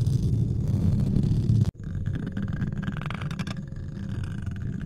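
Fingertips and short nails scratch and rub both sides of the metal mesh grille on the hollow head of a white USB condenser microphone. The result is a dense, low rumbling scrape that cuts out abruptly near the middle before resuming slightly softer with faint brighter rasps.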